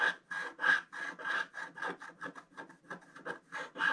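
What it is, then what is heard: Scratch art paper being scratched. A wooden stylus scratches an orange figure into a flat scratch art paper sheet with a black coating. A quick, uneven series of dry rasping strokes is heard, each with a steady scraping tone around 1.7 kHz and a soft, bright hiss. The strokes cut off sharply with almost no ring.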